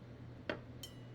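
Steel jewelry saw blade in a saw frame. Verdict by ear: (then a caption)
Tight. A steel jewelry saw blade, tightened in its saw frame, is plucked twice. The first pluck gives a short, dull tick, and the second a high-pitched ping with a thin, bright ringing tone that fades over a steady low hum. The ping shows the blade is properly tensioned, not too loose.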